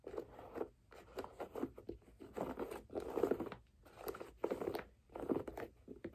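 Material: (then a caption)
Leather. A single hollow white leather figure skate boot with laces and a blue blade guard is held in the hands while long nails scratch and tap along the leather side and the laces. The result is a run of soft, dry, crunchy scratching bursts in uneven clusters, close and quiet, with almost no low end.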